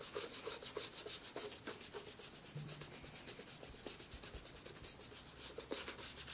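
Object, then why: Rubber sole edge of a leather loafer. A white toothbrush scrubs the black rubber sole edge of a brown leather J.Crew penny loafer, which is hollow, empty and held on its side. Rapid, bright, scratchy bristle strokes repeat at a quick, slightly uneven pace, each one short and dry with almost no low end.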